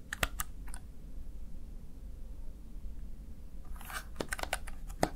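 Fingertips of one hand press the keys of a small backlit plastic Razer Tartarus Chroma gaming keypad. Sharp, bright plastic clicks come in a quick burst at the start, pause over a steady low rumble, then return as a denser run of taps near the end.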